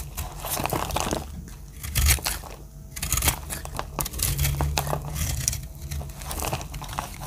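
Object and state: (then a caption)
Dry soap bar being cut. A metal utility-knife blade scrapes and cuts dry chips from a round, pink, speckled solid bar of dry soap. Uneven, crisp crunches and crinkling scrapes carry bright, gritty detail over a steady low hum. The dry chips crack and flake away as the blade passes.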